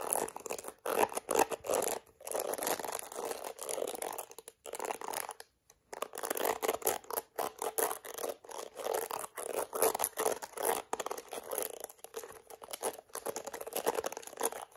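Long acrylic nails scratch the black bristles of a plastic detangling hairbrush, then tap and scratch its smooth yellow plastic back. The result is dense, dry scratching and rapid clicking taps centered in the mid range with a bright edge, broken by a few short pauses, and nothing rings on after each stroke.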